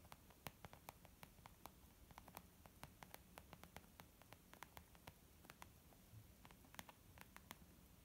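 Long almond-shaped nails of both hands gently tap a small white textured leather zip makeup bag lying flat, soft and hollow. A quick, irregular patter of short, crisp clicks sounds over a faint, steady hiss, each tap dying away almost instantly.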